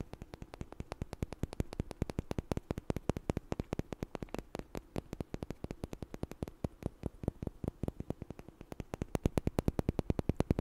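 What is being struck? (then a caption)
Two small wooden blocks. Two small, solid, light wooden blocks, one held in each hand, are knocked and tapped together in front of the mic. The result is a fast, steady run of dry, short clicks with almost no ring, and a low thump under each tap.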